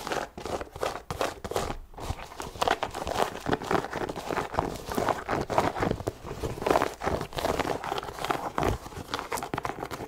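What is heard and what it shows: Long nails scratch and tap on the leather upper of a hollow, empty white leather low-top sneaker with laces. The result is a dense, continuous run of dry, crinkly scratches mixed with quick, soft taps. The sound stays mostly in the midrange, with occasional brief bright edges.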